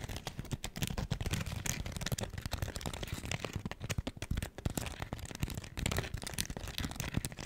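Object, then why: Foam scrub sponge. Long acrylic nails scratch a hand-sized smiley-face cleaning sponge, with a pink textured foam side and a yellow foam layer, held in front of the face. The result is a dense, continuous run of quick, dry, crackling scratches with a soft low thump beneath them and a brighter fizzy edge on top.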